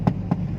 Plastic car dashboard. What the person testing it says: the plastics, they don't feel hollow